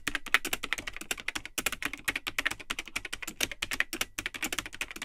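Fingertips type continuously on the built-in plastic keyboard of a vintage Tandy 1000 HX all-in-one computer, with its cream plastic case and yellowed, hollow plastic keycaps. Rapid, dense keystrokes give short, bright, clacky clicks centered around 2 kHz with almost no ring. The pace stays steady with only brief pauses.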